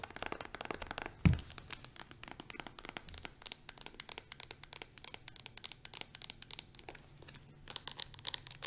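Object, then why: Plastic hand cream tube with plastic cap. A plastic hand cream tube is tapped rapidly with long nails on its side and on its green plastic cap, producing a dense stream of short, dry clicks with bright crisp edges. Tapping is steady throughout, with a louder thump near 1.3 seconds and a bright, busier flurry in the final second.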